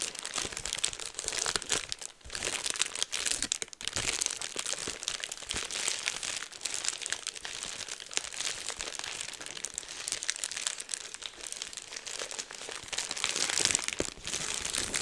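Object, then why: Plastic bubble wrap sheet. Bunched clear plastic bubble wrap is held up close to the microphone while fingertips squeeze and pop the bubbles and crumple the sheet. It makes a steady, bright crinkling and crackling, dense with tiny sharp pops that die away at once, and has almost no low end.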